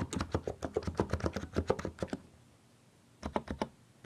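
Fingertips type quickly with both hands on a compact mechanical keyboard with plastic keycaps, producing a rapid run of sharp, clacky keystrokes with a low thock. After about a second of quiet, one hand taps the arrow and Shift keys in a short burst of clacks.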